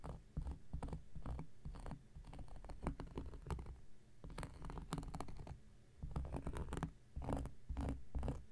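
An X-Acto knife blade scratches a round, flat, solid cork coaster in quick, dry strokes. The quiet, dense scratching is heavy in low thuds, with bright crackly edges, and falls into short bursts separated by brief pauses.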